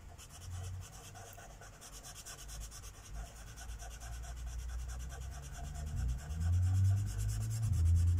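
A felt-tip marker is rubbed steadily over the thin paper page of a coloring book resting on a wooden table, filling in a mandala. The result is a soft, continuous scratchy rubbing with a low, muffled rumble underneath and faint bright hiss, growing gradually louder toward the end.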